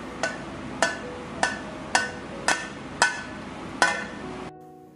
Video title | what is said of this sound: మల్లారపు ఉండలు(బూందీ ఉండలు,కరకజ్జం)ఇలా చేసి చూడండి కరకార్లాడుతూ బాగా వస్తాయి-Boondi Laddu In Telugu | ఇది బాగా గట్టిపడి ఉండలా అయినట్టు అవుతుందండి కొడితే టంగుమని సౌండ్ వస్తుంది